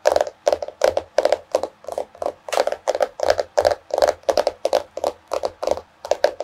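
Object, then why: Cardboard-covered hardcover notebook. Both hands tap long nails on the solid cardboard cover of a small floral hardcover paper notebook. Quick, dry clicking taps come in irregular clusters, each with a midrange knock near 600 Hz and a bright tick that dies away almost instantly.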